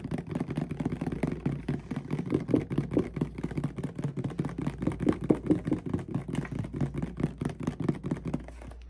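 A medium clear plastic mouthwash bottle with a white cap, partly filled with red liquid, is held in the hands and tapped with fingertips and nails. The result is rapid, uneven, continuous tapping: short, dull, hollow knocks with a low-mid body and almost no bright edge, each dying away almost instantly.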